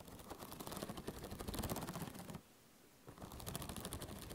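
Long painted nails scratch and flick along the metal coil binding of a medium spiral-bound notebook with a pink-blue cover, held close in front of a microphone. It makes a dense run of rapid, crackly ticks and rasping scrapes with a low thump underneath. The sound drops to near silence for about half a second before the quick clicking resumes.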